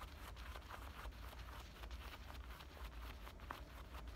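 Fingernails of both hands scratch along the pocket edge and waistband stitching of worn black denim button-fly shorts. The result is a quiet, continuous rasping of short, dry scrapes with brighter scratchy bursts over a steady low rumble.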